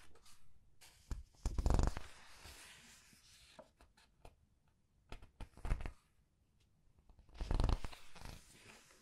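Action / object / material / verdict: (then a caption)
scrape / glossy paper pages of a large book / paper / none. Fingers with long nails press, squeeze and turn the glossy paper pages of the same large art book. Soft crinkling rustles and light nail taps rise into three louder swishing bursts as pages turn, with quiet pauses between them.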